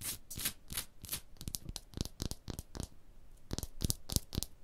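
Long blue nails scratch along the tooled grooves of a solid, porous limestone block wall. A quick, uneven series of about sixteen short, bright rasping strokes, each stopping dead with almost no ring.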